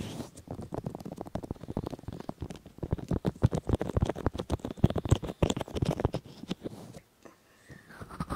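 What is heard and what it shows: Fingertips of both hands rub both silicone ears of a 3Dio binaural microphone. This makes a dense run of soft, muffled rubbing and rumbling strokes that sit mostly in the low range and come at an uneven pace. The strokes briefly drop away just after the seven-second mark, then resume more quietly.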